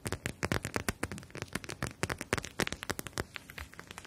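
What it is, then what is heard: Plastic gel bead eye mask. Long nails tap and scratch the surface of a clear plastic eye mask filled with gel beads and edged in fabric, held in both hands. A rapid, uneven series of short, dry clicks and crackly taps, bright with a low thump underneath, each dying away almost instantly.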